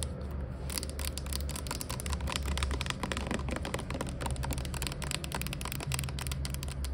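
Long nails tap and scratch quickly along a clear plastic Glade air freshener refill bottle with liquid inside and a pink label, lying on its side. The sound is a dense stream of light, dry, typing-like clicks with short scrapes over a steady low hum.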